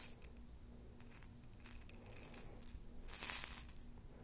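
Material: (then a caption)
Glass, plastic. A rounded glass jar with a metal lid, about a quarter filled with small round plastic beads, is held in both hands and tapped and scratched with long nails on the glass. Soft, bright ticks and scratches carry on throughout as the beads shift and rattle inside, swelling into a louder, brighter rattle about three seconds in before settling again.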